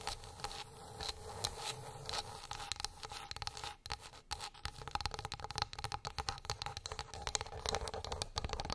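Long pink acrylic nails tap and scratch across a flat, light, solid wooden plate or board lying on a fluffy rug. Quick, dry clicks mix with bright, raspy scratching over a steady woody tone around 850 Hz, and each tap dies away almost at once.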